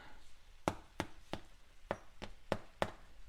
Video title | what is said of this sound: Irish Soda Bread - an easy bread recipe | if it sounds like it's hollow you're good